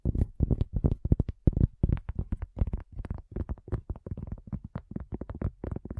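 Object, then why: Thin cork coaster. A round, thin, solid cork coaster is tapped and scratched with long nails. A rapid, irregular run of short, dull taps and scrapes follows, deep and muffled with almost no bright edge, each tap dying away at once.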